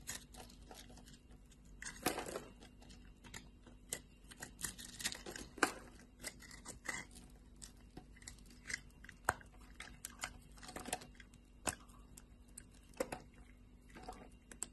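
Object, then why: Bar of soap. A metal blade cuts and scrapes thin scored slices of a solid light blue bar soap, then long-nailed fingers snap and crumble the pieces. Quiet, crisp crunching and scraping come through as a steady run of short, bright clicks and snaps. A few louder cracks stand out over a faint low hum.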